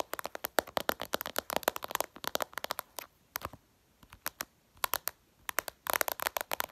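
Long purple nails tap and scratch fast on the glass screen of a smartphone lying flat. Dense bursts of sharp, dry, bright clicks with almost no low end fill the start and end, broken by sparser, scattered taps in the middle.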